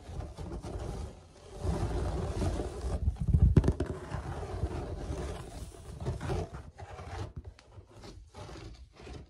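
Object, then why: Perforated plastic lid. Fingertips and nails scratch and rub the textured, woven-pattern surface of a white perforated plastic lid that is hollow underneath. The result is a run of rough, uneven scraping bursts with a heavy low-end rumble, swelling and fading with short quiet gaps.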